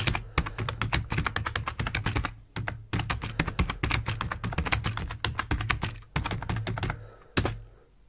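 Rapid two-handed fingertip typing on a black plastic computer keyboard with hollow plastic keycaps, resting on a desk. Quick, dry clicks with a low, hollow thud under each keystroke come in dense bursts, with short pauses between runs. The clip ends with one last isolated key press.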